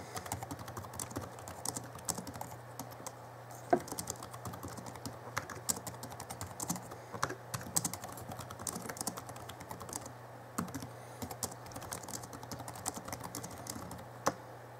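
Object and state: Plastic laptop keyboard.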